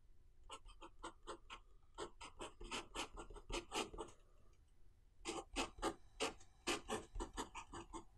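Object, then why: Metal pen nib on paper notebook page. A fountain pen with a metal nib, held in the fingertips, writes Chinese characters on the thin white paper page of an open notebook lying flat on a desk. Quick, bright, dry scratching strokes come in rapid bursts, each with almost no ring. There is a short quiet pause just past the middle before the writing resumes.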